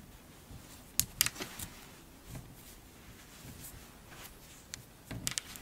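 A pile of pink kinetic sand is squeezed and pulled apart with long-nailed hands, and the sand crumbles down in clumps. Quiet, bright, crisp clicks and crackles come in short bursts over a faint soft hiss, with sharper clusters near the start and again near the end.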